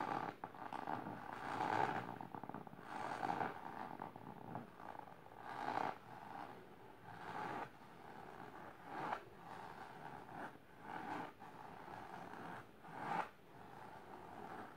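Long silver nails scratch the fabric surface of a large pink patterned fabric-covered storage box or ottoman. Irregular bursts of dry, rasping scratches with a steady midrange hiss rise and fall in quick strokes, leaving short pauses of quieter rubbing between them.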